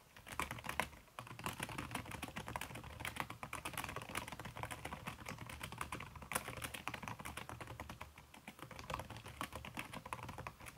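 Fingertips with long red-painted nails type fast on a backlit aluminium laptop keyboard whose plastic keys sit under a red silicone skin. The result is a dense, continuous stream of soft, muffled key clicks with short, quick-fading taps, over a steady low hum.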